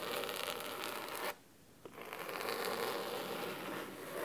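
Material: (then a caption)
Cloth. Fingernails on clawed fingers scratch the thick navy cloth cover of a solid fabric-bound hardcover book resting on a wooden table. A dense, crisp, bright scratching rasps continuously, then stops for about half a second with one small tick before resuming and running to the end.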